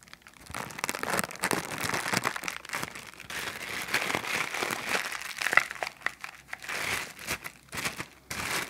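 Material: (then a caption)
Plastic. An empty, thin clear plastic bag with a blue print is held in both hands while the fingertips stretch and crinkle it. The result is dense, bright crinkling and crackling that comes in uneven bursts and pauses, with almost no low end and no ring after each crackle.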